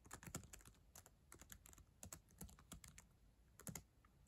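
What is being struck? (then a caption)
Plastic laptop keyboard keys tapped with acrylic nails. Long acrylic nails and fingertips type on the plastic keys of a black ThinkPad laptop keyboard, a solid device, making a quick, uneven run of bright clicks and soft low taps. Each keystroke dies away almost instantly, and the whole passage stays quiet.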